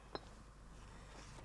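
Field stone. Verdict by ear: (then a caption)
Sound. A field stone picked from the vineyards is struck once while building a dry-stone vineyard hut (stone drum), giving a single short, clear clink with a ringing tone near 400 Hz and bright overtones. The bell-like ring shows the stone is very sound, with no cracks.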